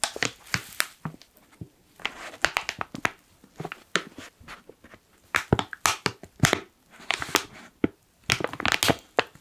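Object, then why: Foil-laminated coffee pouch. A black foil coffee pouch has its side gusset folded and crinkled with the fingers. Sharp, bright crackles and crisp crunches come in irregular bursts separated by brief quiet gaps, with little low end and almost no ring after each one.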